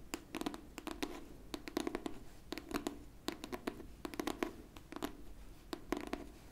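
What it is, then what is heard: Hardcover book tapped and scratched with fingernails. A pink hardcover book is held flat while long pink nails on both hands scratch and tap its cover. Quick, dry clicks and short scratches come in uneven bursts, with a hollow low-mid body near 330 Hz and bright, crisp edges. Each tap stops almost instantly, and the overall level stays quiet.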